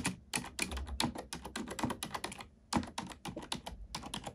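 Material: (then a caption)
Plastic. Fingertips and long nails of both hands type rapidly on a black plastic computer keyboard, producing a quick stream of sharp, bright clicks and tapping with a soft low thud under some strokes. There is a brief pause just before the typing resumes in uneven bursts.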